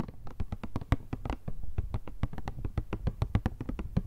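Long nails rapidly tap and scratch a hollow, rectangular printed cardboard Kleenex tissue box with tissues inside. The result is a quick run of dull, low, boxy thuds with bright clicky attacks and almost no ring.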